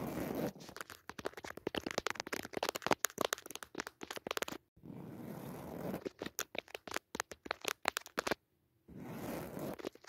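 Long nails scratch and tap close-up on the weave of a soft padded woven jacquard fabric cushion with a red leaf pattern. Quick, crisp bursts of scratching come in dense runs, broken by smoother, steadier rubbing passages and a short silent pause near the end. The sound is dry, bright and crackly with little low end.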